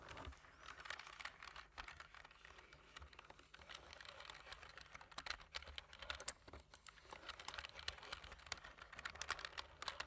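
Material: Plastic.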